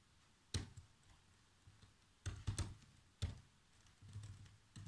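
Fingertips with short nails type fast across the keys of a black plastic chiclet laptop keyboard. Separate soft taps come through with a low, thudding body and a short bright click on top, over a quiet background. Each tap dies away almost at once.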